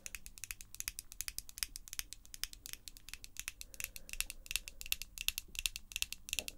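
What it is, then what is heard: Acrylic false nails tapping. Long, glossy pink acrylic false nails on both hands tap and click against each other in a quick, uneven patter. Each click is sharp, bright and dry, centered around 2.7 kHz, and dies away almost instantly. A faint low hum sits underneath.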